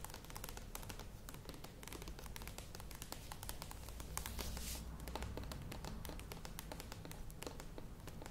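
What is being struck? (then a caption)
Plastic yogurt tub with lid. Long acrylic nails tap rapidly on the sides of a medium, hollow, cylindrical plastic Kokos Natur yogurt tub with its lid on, standing on a table. The result is a dense, steady stream of quick, sharp clicks over a low hum.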